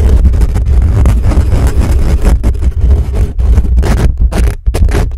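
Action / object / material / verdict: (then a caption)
scrape / metal mesh microphone grille / metal mesh / none. Fingertips and nails of both hands rapidly scratch the hollow metal mesh grille of a black condenser microphone. The result is a loud, dense, continuous scraping rumble dominated by deep boomy low end, with a few brief dips between bursts.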